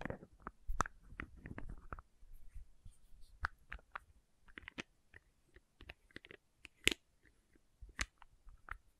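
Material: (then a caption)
Plastic. Fingertips and nails scratch and tap the red plastic cap and label of a small labeled plastic condiment bottle. The result is a quiet, irregular series of sharp, dry clicks and scratchy crackles with bright edges over a faint low rumble, each sound stopping almost instantly.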